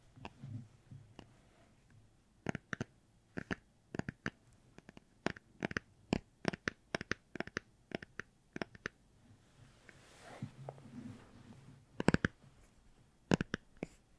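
A cardboard-covered hardcover children's book, possibly a Star Wars one, is tapped with about 37 sharp, dry taps that die away instantly, with a brief stretch of soft scratching on the cover around the ten-second mark. The book gives really nice tapping sounds.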